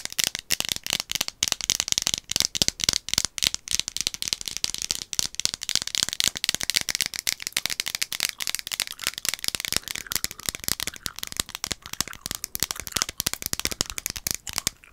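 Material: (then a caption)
Plastic. An orange-capped plastic One A Day gummy vitamin bottle, partly full of gummies, is held close to the microphone, shaken and tapped with long nails. It makes a dense, continuous, bright rattle of rapid clicks with almost no low end and no ring.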